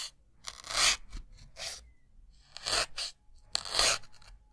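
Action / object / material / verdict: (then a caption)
scrape / melamine foam sponge / melamine foam / none. A white solid melamine foam sponge block is repeatedly pierced with a thin metal needle. Each stab gives a dry, bright crunch and tearing sound, with short pauses between the louder bursts.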